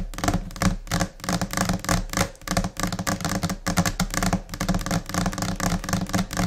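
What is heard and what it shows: Long nails tap with both hands on a flat, solid white laminate desk surface in scattered, chaotic rhythms. The result is a dense stream of quick, dry clicks over a low, hollow thud, with each tap dying away almost at once.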